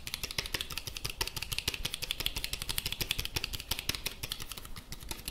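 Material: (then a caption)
Plastic. A black plastic handheld walkie-talkie with a long antenna, held in both hands and tapped and scratched with fingertips and nails. A rapid, continuous stream of crisp, bright clicks and taps runs throughout, with a faint low rumble underneath. The hits blur together too closely to count.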